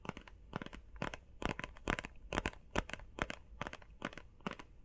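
Fingernails tap and scratch fast on a small, hollow, blue printed face mask box, likely cardboard. Quick bursts of dry clicks and crinkly scratches come in uneven clusters over about five seconds, with no ring after each hit.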